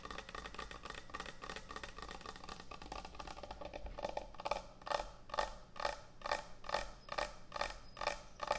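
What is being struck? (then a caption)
Thick wooden end-grain cutting board. Long nails scratch and tap quickly on a large, thick, solid wooden end-grain butcher block cutting board, starting as a dense, fast rattle of scratching and clicking. About halfway through it settles into a steady run of distinct knocks with a hollow, woody midrange tone and a bright, crisp edge, each dying away almost immediately.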